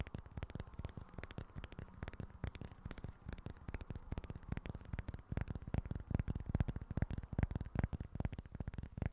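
Fingertips and nails tap and scratch the surface of a small, flat cork board. The result is a quiet, fast, irregular stream of dull, low-heavy taps, each one dying away almost instantly, mixed with faint scratching. The tapping grows slightly louder toward the end.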